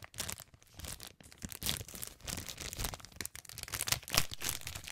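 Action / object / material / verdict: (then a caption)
scrape / thin clear cellophane candy bag / cellophane / none. Fingertips crinkle, pinch and rub the thin film of a clear plastic cellophane bag of heart marshmallows, held up and flattened in the hands. Irregular bursts of bright, crackling crinkles rise and fall with each squeeze, with soft low rustling between them and no eating sounds.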